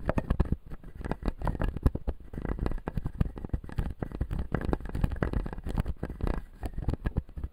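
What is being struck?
Acrylic dental jaw model with resin teeth.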